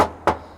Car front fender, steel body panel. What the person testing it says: บางกริ๊งเลยแก้มนะครับไล่เคาะดู